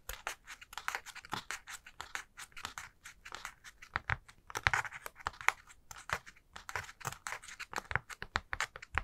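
Long nails scratch and flick along the pleated folds of a hollow, light honeycomb paper spider decoration: a purple, black and green honeycomb tissue-paper ball with black cardstock spider legs. The result is a rapid stream of dry, crackly scratches and papery flicks with a bright rustle and almost no ring after each stroke.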